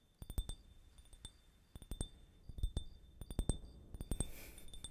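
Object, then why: Small clear glass drinking tumbler. A small, empty, clear glass drinking tumbler, held up in one hand, is tapped with fingertips and nails, and possibly with a small gold-colored tool held in the other hand. Around twenty quick, irregular clinks sound, each with a soft low thump and a brief, bright glassy ring near 3.5 kHz that dies away almost at once. A short airy hiss rises near the end.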